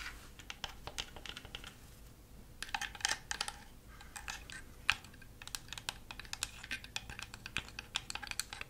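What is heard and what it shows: Long, flat-tipped acrylic nails tap and scratch the thin, flat panels of a laser-cut, light wooden Christmas house ornament with lit windows. The result is a rapid, uneven run of dry, bright clicks and short scratchy bursts with almost no ring. Brief quieter gaps fall between the flurries over a faint low hum.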